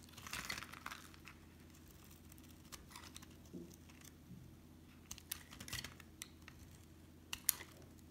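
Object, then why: Bar of soap shaved with a metal blade. A solid rectangular brown La'Diva bar soap, held in the hand, is shaved into thin curls with a metal utility knife blade. Quiet, dry scraping and scratching cuts come in bright, crinkly bursts with sharp crackling ticks, the loudest near the start and end, over a faint low hum.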